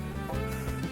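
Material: Nothing is struck.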